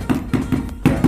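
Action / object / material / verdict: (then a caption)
knock / ceramic floor tile on mortar / ceramic / hollow. A ceramic floor tile laid on cement mortar is knocked five times, each tap giving a short, dull, low thud around 250 Hz that dies away quickly. The tile sounds hollow because the mortar bed underneath has gaps or the adhesive has come loose and no longer sticks.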